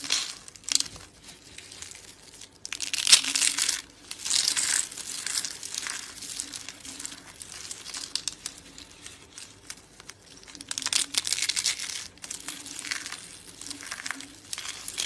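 Fingertips crumble and crush black-and-white dry soap rosettes and flakes, solid and brittle, into a pile of flakes. The crushing produces dense, bright, crinkly crunching in bursts of rapid small crackles with almost no low end, each crack stopping dry and short. Quieter stretches of fine crumbling sit between louder crunching bursts.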